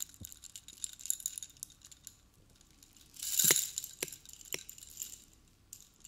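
A silver-colored metal chain necklace hung with long, hollow-looking metal spike pendants is held up in a hand in a black fishnet glove with blue painted nails. It is shaken and handled so the spikes and chain links jangle and clink against each other in a bright, high rattle. A louder burst of jangling comes just past the midpoint.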